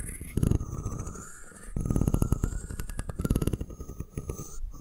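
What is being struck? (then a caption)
Wooden comb. Long nails tap and scratch the curved top and teeth of a solid wooden comb held in both hands. Quick, dull, low-heavy taps come in clusters, mixed with soft scratching and a faint steady tone.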